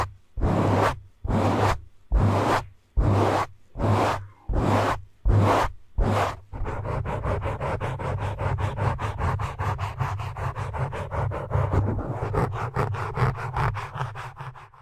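Fingertips and nails of both hands grip, rub and scratch a black foam windscreen on a microphone. Eight separate deep, rumbling rubbing swishes come first, followed by a continuous, rapid run of close, bassy scratching that fills the rest of the clip.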